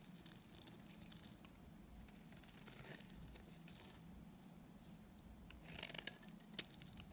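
A solid, dry green soap bar held in hand is shaved with a utility knife blade. Soft, bright scraping and crinkly shaving sounds run over a low steady hum, with a few sharper clicks near the end.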